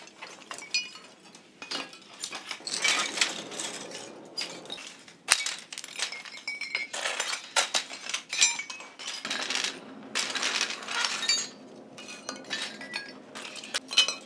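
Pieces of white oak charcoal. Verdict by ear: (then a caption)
Hard. Pieces of Kishu binchotan white charcoal, made from ubame oak, clink and knock against each other in many quick bursts, giving bright, high-pitched metallic, glass-like rings that die away almost instantly. The ringing shows the charcoal is hard and high-quality, with a hardness of 20 that is close to steel.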